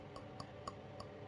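Four light taps on the pot of a freshly potted orchid, each a short click over a low background hum. The pot gives a low, not hollow sound, showing the potting medium is still moist and needs no water.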